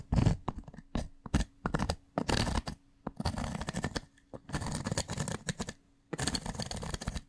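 A bundle of sharpened wooden pencils scratches and taps its graphite tips across the rough, pitted surface of a solid, porous grey pumice stone resting on a desk. Rapid, gritty scraping bursts and sharp taps come in irregular clusters separated by short pauses, rich in low-end body with bright, rough texture on top and a faint steady hum beneath.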